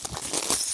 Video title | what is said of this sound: Driving a rare car to the middle of nowhere | it looks like glass and it sounds like glass